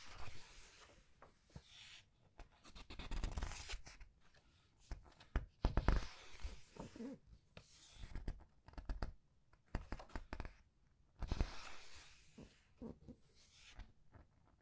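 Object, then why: Hardcover book with thick glossy paper pages. Long red-painted nails and fingertips turn, rub and squeeze the thick glossy paper pages of a large open hardcover art book lying on a white table. Bursts of papery rustling, crinkling and soft scratching rise and fall between quiet pauses, with duller thumps as pages settle.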